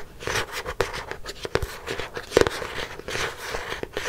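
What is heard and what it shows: Long nails scratch across the front and back covers of a black hardcover notebook. Quick, dry scraping strokes come in uneven bursts with bright rasping hiss and a recurring mid-range tone near 480 Hz. Occasional sharper ticks cut off almost at once.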